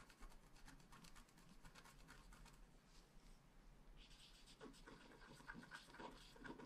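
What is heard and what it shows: A wooden stylus scratches short strokes into a flat black scratch art card of wax-coated paper. Quiet, bright, dry scraping rasps come in irregular bursts, growing denser and brighter partway through, over a low steady background hum.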